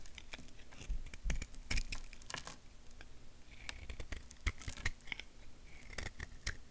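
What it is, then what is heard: Bar of soap being carved. A purple-bladed knife scrapes and carves a small, solid tan bar of soap shaped like a curved stick and held in the fingers, shaving off small flakes. Irregular dry scraping and crisp, crackly cuts follow one another, with brief bright, high flicks over a soft low rumble.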